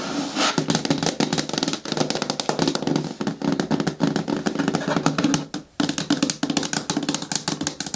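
Long nails tap rapidly on the side edges of a hollow, medium-hard green plastic bin with a lid. The result is a dense, fast stream of short, dry clicks with a hollow resonance around 277 Hz and bright ticks on top. There is a brief pause near the 5.5-second mark before the tapping resumes.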